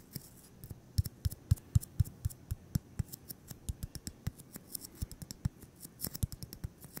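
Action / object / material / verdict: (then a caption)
tap / styrofoam ball / styrofoam / none. A solid white styrofoam ball about 8 cm across is held in the hands and tapped and scratched with fingertips and short nails. The result is a quick, uneven run of dry, soft thuds with a low body near 110 Hz, each edged by a brief bright click, over a faint scratchy hiss, at about four taps per second.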